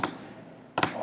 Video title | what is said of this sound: Ways to Keep Away the Taotaomo'na | I was tapping on my drawer my aluminum drawer like this